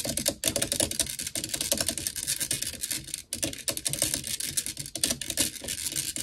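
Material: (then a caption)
Metal mesh. Long nails tap and scratch quickly on the black metal mesh grille of a blue desktop microphone, using both hands. The sound is a dense stream of sharp, bright clicks and scratchy rasps that die away almost at once, with brief pauses near 0.4 and 3.3 seconds.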